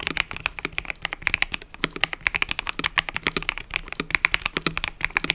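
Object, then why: Mechanical keyboard with plastic keycaps. Fingertips type continuously on a cream and purple mechanical keyboard with plastic keycaps. The result is a rapid, steady run of about 44 sharp, bright clicks centered near 2.2 kHz, each dying out almost instantly with very little low end.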